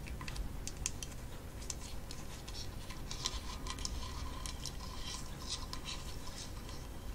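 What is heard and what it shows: Long false nails tap quickly on the wooden rim and brown shell underside of a hand-sized kalimba, made from a hollow half-coconut with a painted wooden top. The taps come as dense, bright, dry clicks with very short decay, over a steady low rumble.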